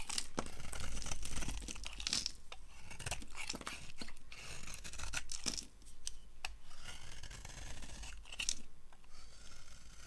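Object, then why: Bar of soap carved with a blade. A hand-held, solid peach-coloured oval bar of dry soap is carved with a yellow utility-knife blade, shaving off ridged curls. Each stroke makes a dry, crunchy scraping and tearing sound with bright crackle, repeating steadily throughout with a low background hum.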